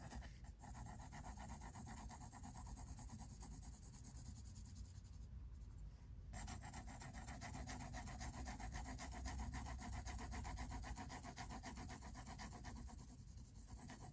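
A pink mechanical pencil scratches dense shading strokes onto the white paper page of a spiral-bound sketchbook resting on a table. The quiet, steady, rapid back-and-forth strokes make a dry, scratchy rubbing sound over a low rumble, with a faint high rasp in each stroke.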